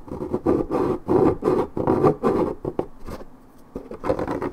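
Long nails scratch deeply at a scuffed spot on the coated cardboard of a 1.75 L Minute Maid paperboard orange juice carton. The result is a run of dry, raspy scratching strokes with a papery midrange rasp, coming in uneven bursts. A brief quieter lull falls before the scratching picks up again.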